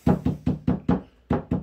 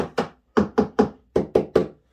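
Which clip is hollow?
The first.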